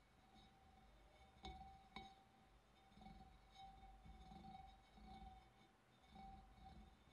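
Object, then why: Glass fish bowl. Fingernails tap sparsely on the rim of a large, clear, empty glass fish bowl. Two sharp clinks stand out, each leaving a thin, steady ring near 780 Hz over a soft, low background rumble that rises and falls.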